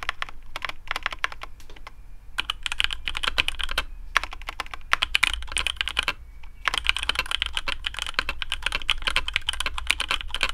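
Fingertips of both hands type on a black AARU custom mechanical keyboard with TTC Speed Silver switches, PBT plastic keycaps on a carbon fibre plate, and a hollow case. Rapid bursts of crisp, bright clacks run in quick runs, with brief pauses, over a faint low hum. Each keystroke ends almost instantly.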